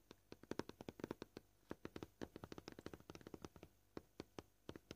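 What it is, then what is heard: Plastic cutting board. Short purple-painted fingernails tap on a flat, solid, white scratched plastic cutting board. About thirty quick, dry, clicky taps come at an uneven pace, with short pauses between bursts. Each tap is quiet, centered in the low-mid range, and dies away almost instantly.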